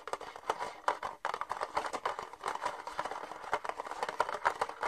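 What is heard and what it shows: An empty, hollow, thin red plastic party cup is held in both hands while fingernails tap and scratch its side wall. The result is a quick, dense run of light, dry clicks and crinkly scrapes centred around 1 kHz, with almost no low end and each tap dying away at once.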